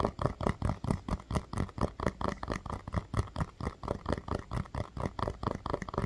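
Fingernails tap and scratch a small orange hollow rubber mini basketball, pressing its surface in slightly. The result is a quick, uneven run of about thirty soft, dull, low thuds with a faint scratchy texture, each dying away almost at once.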